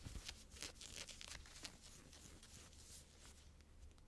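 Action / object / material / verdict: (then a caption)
scrape / cotton fleece sweatshirt cuff / cotton fleece / none. Long blue-painted fingernails scratch and rub the cuff of a worn teal knit cotton fleece sweatshirt sleeve, a soft thick fabric. A dense, bright, scratchy rustle with sharper strokes early on settles into a steady, quieter rasping over a low rumble.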